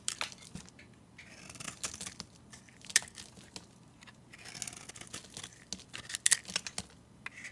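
A metal blade scrapes thin, flaky shavings off a solid, hand-sized oval soap bar that is mostly orange, the shavings stacking up as it cuts. The sound is a dry, crisp scraping and crinkling, mostly bright and high, with irregular sharp crackles and quieter stretches between strokes.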